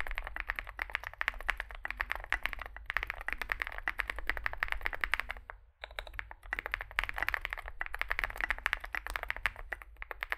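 A Zoom65 65% mechanical keyboard with a dark metal case, likely aluminum, white and grey SA-profile plastic keycaps and lubed switches rests on a desk mat while two hands type on it with their fingertips. Rapid, steady key taps give a bright clacky sound centered around 1.9 kHz over a low hum. There is a brief pause at about 5.6 seconds before the typing resumes.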